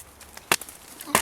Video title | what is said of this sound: Chaga Hunting | you're gonna know because it's solid wood inside. That's just a burl.